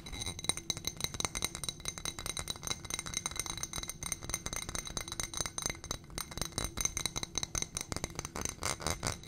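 A small footed glass coupe with a gold stem, filled with white wax candle, is tapped and scratched with long painted nails. The result is a fast, dense run of bright glassy clicks and clinks with a thin scratching texture, each tick dying away almost instantly.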